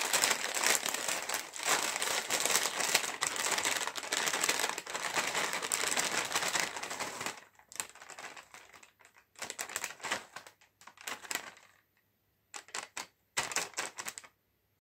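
A full, sealed green metallized plastic chips bag, held up by its top edge, is tapped rapidly with fingertips and nails, making bright, crinkly, papery clicks. The tapping runs dense and continuous for about seven seconds, then breaks into shorter bursts separated by moments of silence.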